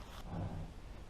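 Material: Nothing is struck.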